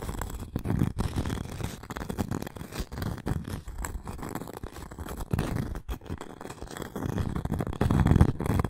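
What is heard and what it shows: Long acrylic nails scratch and tap the cork top of a round, flat, solid coaster with a thin wooden rim, held in the hands. The result is a steady, irregular stream of soft, muffled scratching and quick dull taps, mostly low in tone with very little brightness, growing a little louder near the end.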